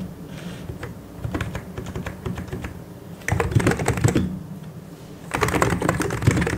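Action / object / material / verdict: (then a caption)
tap / plastic mechanical keyboard / plastic / none. Fingertips type on a white and grey plastic mechanical keyboard, producing irregular runs of short, dry keystrokes with a low-pitched thock under bright clicks. The typing grows louder in two bursts, from about 3.3 to 4.2 seconds and from 5.4 seconds to the end. Each keystroke dies away quickly.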